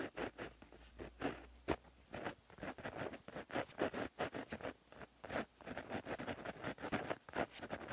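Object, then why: Gel pen with metal tip on a paper notebook page. A plastic-barrel gel pen with a metal tip, held in the fingers, writes across a flat black lined paper notebook page lying as a solid sheet on a surface. The metal tip scratches along the paper in quick, dry, papery strokes that come in short bursts with brief pauses between them. The sound is soft and close, with most of its energy in the midrange.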